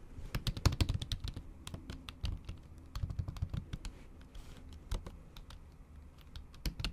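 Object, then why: Plastic laptop keys under a silicone cover, typed with nail tips. Steady typing with the tips of long acrylic nails on a MacBook Pro keyboard, whose plastic keys sit under a thin pink patterned silicone cover in an aluminium body. It sounds like a quick, uneven run of soft, muted taps with low thumps and brief bright clicks. Each tap dies away almost instantly.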